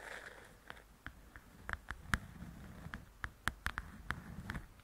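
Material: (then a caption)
Paper. Long nails tap the top edge of a large, flat paperback coloring book and scratch its glossy cover. About fourteen quick, dry taps with a short midrange click stand out over a soft, continuous scratching hiss and low rumble.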